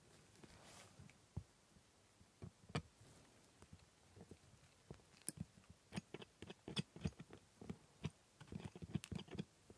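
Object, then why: Metal scaler on plastic model teeth. A metal scaler scrapes along the hard plastic teeth of a typodont dental model while the other gloved hand holds the model. Quiet, short clicks and scratchy ticks come sparsely at first, then grow denser and louder in the second half. Each scrape is dry and brief, with low thuds under brighter scratching.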